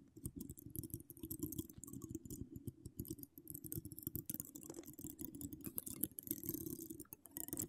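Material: Metal mesh.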